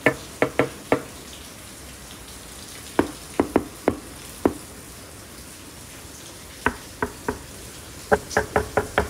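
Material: Plastic.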